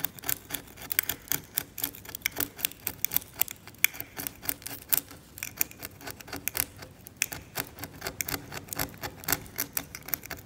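A scalpel held by the fingertips scrapes thick, cracked, yellowed varnish off an oil painting on canvas in short strokes. About fifty quick, dry, bright scratches follow one another in an uneven, steady rhythm, each stopping sharply with no ring.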